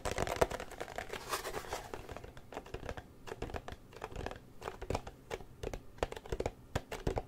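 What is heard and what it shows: Fingertips and nails tap and scratch the sides and edges of a small, open, empty gold cardboard Nikon lens box held close to the mic. A dense, papery scratching and crinkling fills the first two seconds, then gives way to sparser, sharp, dry taps with very short decay.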